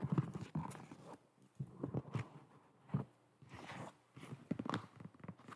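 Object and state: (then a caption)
Foam slip-on shoe. A hollow, empty white molded foam slip-on shoe with holes is held up and turned in the hands while long nails tap and scratch it. Short, dull, low-pitched thuds mix with soft scratchy rustles, each dying away almost at once, with brief quiet gaps between bursts.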